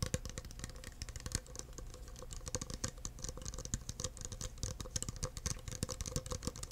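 Fingertips tap rapidly over the sides, rim and base of an empty clear plastic cup, making a steady run of short, dry plastic ticks with bright clicky edges. A constant low hum and a faint mid-pitched drone sit underneath the taps throughout.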